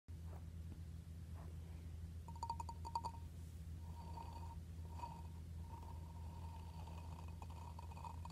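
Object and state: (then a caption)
Glazed ceramic plant pot. Blue-painted fingernails and fingertips tap and scratch the grey, gritty textured rim and upper side of a hollow, medium red glazed ceramic plant pot with an embossed medallion; its contents are not visible. Quick clicky taps cluster around the middle and draw a ringing tone near 930 Hz with bright overtones. Softer scratches keep that ring going over a steady low hum that fills the whole clip.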